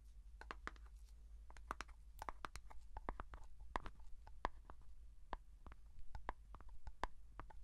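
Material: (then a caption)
Plastic. Fingertips and nails tap on the lid and side of a small, closed plastic Vaseline petroleum jelly jar with a blue plastic lid. A quick, irregular run of short, dry plastic clicks and ticks sounds with a hollow midrange knock. The taps die away almost instantly over a steady low hum.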